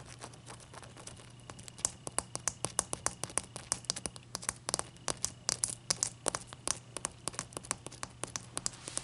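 Long dark nails tap and scratch the top and sides of a large, clear, solid ice block resting on a towel. Dozens of quick, bright, dry clicks with no ring sound over soft scratching, a faint low hum and a thin steady tone.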